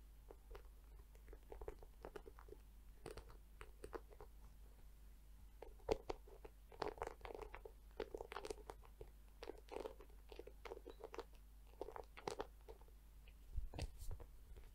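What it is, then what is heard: Plastic scalp massager brush. Long nails tap and scratch both the soft plastic bristle side and the dome of a pink plastic scalp massager brush. The result is a quiet, steady stream of short, dry crunching taps and scratchy rustles, centered in the mids over a low, constant hum.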